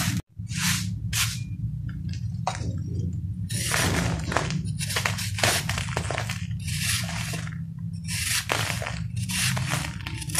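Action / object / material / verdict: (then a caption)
scrape / pressed sand-cement ball scraped with a metal knife / sand cement / none. A palm-sized, hand-held solid ball of pressed sand and cement is shaved and scraped with a metal knife over a sheet of notebook paper, and crumbled powder falls onto the paper. Repeated gritty, hissing scrapes come in bright bursts, some short and some drawn out, over a steady low hum.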